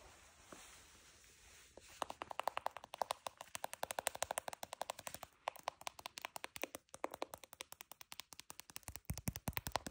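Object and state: Patent leather high heel shoe.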